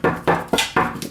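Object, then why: Car underbody cover panel. Knuckle knocks on the plastic underbody cover panel next to the jacking point under a BMW E46 give five hollow, dull plastic thunks, the last one quieter. The panel bends inward when pressed, which shows it is plastic and the wrong place for a jack stand.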